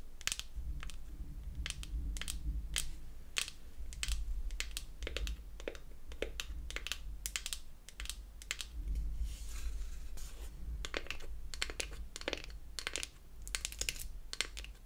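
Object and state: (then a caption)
Wooden toy eyeshadow palette tapped with nails. Long acrylic nails tap rapidly on the wooden lid of a small, closed beech-wood toy eyeshadow palette with a hinge. The result is a steady stream of sharp, dry, bright clicks that die away almost instantly, over a constant low rumble.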